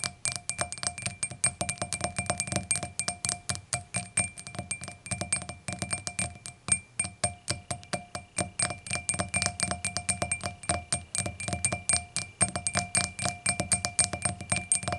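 Long nails tap and scratch quickly along the solid glass stem of an empty, clear hurricane glass lying on its side on a towel, beside its hollow bowl. The steady stream of short, dry clicks carries a faint high, bright ring and a soft low thump from the towel, with brief scratchy strokes between the taps.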